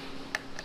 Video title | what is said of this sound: Wow Ganda Nito Sa Personal Rusi Titan 250 Revie & Walkthrough! Langga Gail | pero para siyang metal kung titingnan mo sa personal. Pero kung, ayan, pitikin mo ng konti, plastic siya